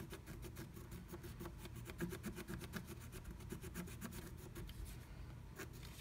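A wooden stylus slowly scratches flat black scratch art paper inside a diamond-shaped stencil cut-out, revealing pink colour underneath. A quick, uneven series of dry, raspy scratching strokes, about four per second, sits over a steady low rumble at a quiet level.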